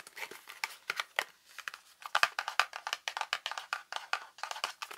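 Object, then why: Thin cardboard soap box. A small Dove gentle exfoliating bar soap box made of thin printed cardboard, likely full with the bar inside, is held in both hands and handled, tapped and scratched with long painted nails. A steady run of quick, dry taps and scratchy crinkles comes from the box. The sounds are bright and papery with no low end, and each one stops almost instantly.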